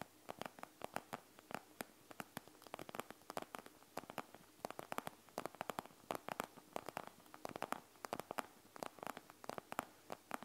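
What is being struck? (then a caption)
Plastic gel bead eye mask. Long nails tap and scratch the plastic, bead-filled front of a panda gel bead eye mask made of plastic and gel beads, resting on a wooden table. Quiet, rapid, irregular clicks and light scratchy crackles follow one another steadily, each dying out almost at once.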